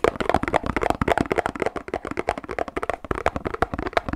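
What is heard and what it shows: A hand-sized, hollow Pilkul paperboard drink carton is held in both hands and rapidly tapped and knocked with fingertips, knuckles and a loose fist. The result is a fast, uneven run of short, dry, hollow knocks with a boxy midrange tone around 670 Hz, each dying away almost instantly.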